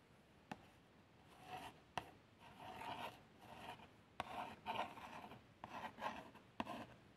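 Long French-manicured nails lightly trace and scratch across the printed front of a small, hollow cardboard box of fabric plasters. Soft, dry rasping strokes swell and fade in a quiet, close recording, broken by a few sharp little nail taps.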